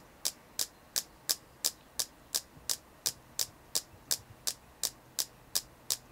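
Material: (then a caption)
Selenite. ASMR tapping on a selenite crystal produces 17 short, crisp taps at a steady, even pace of roughly three per second. Each tap is bright and high-pitched and dies away almost instantly, with a faint low hum underneath.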